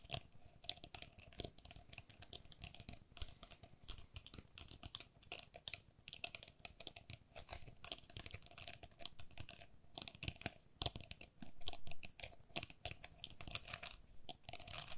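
Long nails scratch and tap the mesh walls of a hollow, empty pink perforated plastic lattice pen cup. The result is a dense, continuous stream of quick, dry clicks and bright crackly scrapes, with a few sharper taps standing out. A faint steady tone runs underneath.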